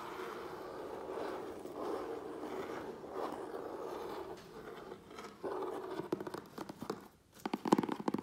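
Fingertips and nails scratch and tap the sides of a medium, closed, hollow corrugated cardboard USPS Priority Mail box held on a wooden table. For the first five seconds there is a steady, papery scratching with a warm midrange body. It then gives way to quicker, sharper taps that sound dry and hollow and die away almost instantly.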